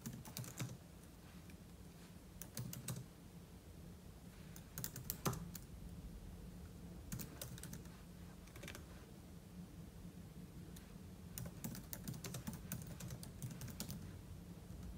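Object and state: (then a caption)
Laptop keyboard typing. Fingertips type continuously on a silver aluminum laptop keyboard with plastic keys, producing quick bursts of soft, bright clicks. Short pauses separate the bursts, and a steady low hum sits underneath. Each keystroke is crisp and dies away almost at once.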